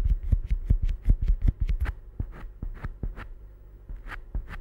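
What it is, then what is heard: Rubber stress ball. A small solid yellow rubber or silicone stress ball is held by the fingertips and squeezed and rubbed close up. It makes a quick, uneven run of soft, dull squishes and thumps, mostly low and very short, with faint brighter rubbing squeaks on some strokes.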